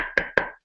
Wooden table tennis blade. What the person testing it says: So again, that's the high-pitched noise.